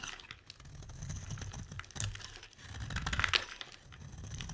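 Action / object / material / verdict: scrape / bar of soap scraped with a knife blade / soap / none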